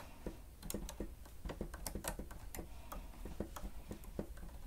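Fingertips of both hands press and tap the keys of a grey plastic stenotype keyboard with a hollow housing. A quiet, uneven run of short, dull taps with a hollow low body near 200 Hz is heard, with occasional brighter clicks that die away almost instantly.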